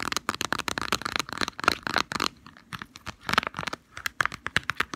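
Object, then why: Small cardboard box. A small, hollow white and green cardboard medicine box for Deep Heat arthritis relief is held in the fingers and tapped and scratched with long fingernails. Quick, dry clicks and scratchy crackles come in dense bursts, with a short quiet gap in the middle.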